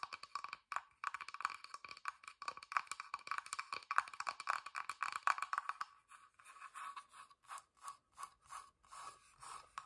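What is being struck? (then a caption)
Bottom panel of a small wooden box. Long dark nails tap and scratch the flat, whitewashed bottom panel of a small hollow wooden box that has a sticker and small feet. For the first six seconds, dense, rapid, dry clicks and scratchy strokes ring around 1.1 kHz with bright edges and no low end. After that, the sound thins into slower, softer, evenly spaced scratching strokes.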